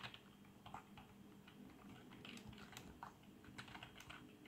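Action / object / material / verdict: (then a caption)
tap / plastic membrane keyboard keys / plastic / none. Fingertips type steadily on a black plastic membrane keyboard with RGB backlight, producing a quiet stream of soft, muffled key taps with brief bright clacks. Each press fades almost instantly, leaving a low, hushed run of keystrokes.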